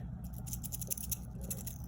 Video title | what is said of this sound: Comparing Rolex 904L Stainless Steel To 316L Stainless Steel (Subjective Personal Experience) | it feels a bit tinny so i'm gonna i'm gonna shake it you're gonna hear it's not as bad